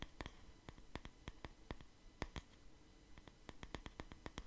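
Fingers tap and scratch the wood of a wooden paddle hair brush with bristles, held beside the mic. About 22 short, crisp clicks with bright tops ring out and die away almost instantly over a quiet, low, soft scratching bed.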